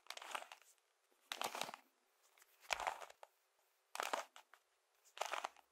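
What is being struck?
Plastic toy-brick puzzle cube.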